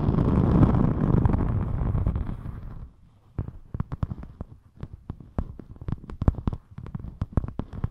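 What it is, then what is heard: Glitter foam sheet scratched with nails. A thin rainbow glitter EVA craft foam sheet, held in front of the microphone and flexed, is scratched and rubbed by long metallic nails. For about three seconds there is a dense, loud, low scratching rustle. It drops to near silence, then gives way to a rapid, irregular run of sharp, dry clicks and taps.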